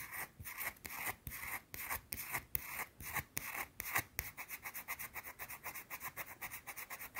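Long blue nails scratch and rub a small, round, flat, solid white soap bar held in the hand. Bright, dry rasping strokes come in bursts, longer and slower at first, then shorter and quicker in a rapid run toward the end.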